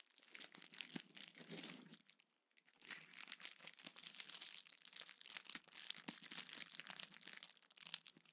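A small sheet of clear plastic bubble wrap is held in both hands, squeezed, crinkled and its bubbles popped with fingertips. Dense, bright crackling and crinkling is broken by many sharp, very short pops, with a brief pause of near silence early on before the crinkling resumes and continues to the end.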